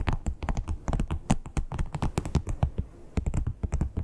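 Long acrylic nail tips tap quickly on a flat red croc-embossed leather wallet. The result is a rapid, uneven run of dull, low, muffled clicks that die away almost instantly, with a short lull near the three-second mark before the tapping picks up again.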